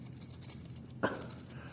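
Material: Metal.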